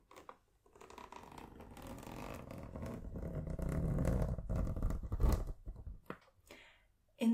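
A tan suede zippered pencil case held in one hand is tapped and scratched with long nails and fingertips. Soft, dense scratching and rustling swell gradually, peak in a busier low-heavy patch, then thin into a few scattered taps. A short loud tap closes the clip.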